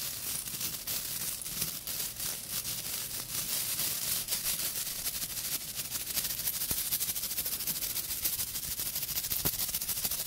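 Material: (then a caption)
Natural bristle. Long pink acrylic nails scratch and flick across the dense tuft of short natural bristles on a small round brush with a solid light wooden base, held in one hand. The sound is a continuous bright, crackling rustle made of rapid, uneven scratches, with no low-end body, and a few sharper flicks stand out.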